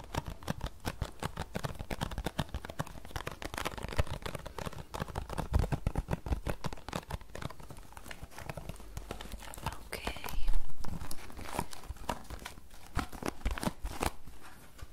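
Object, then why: Small paperboard tea box. Long nails tap and scratch across the faces of a small, closed green paperboard tea box held flat. Rapid, irregular dry taps with very short decay are mixed with scratchy rubbing, and a louder, brighter scrape briefly swells about two-thirds of the way through.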